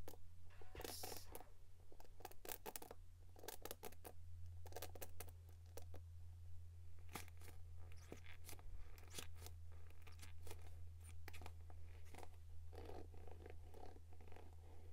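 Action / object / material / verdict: scrape / plastic paddle hairbrush bristles / plastic / none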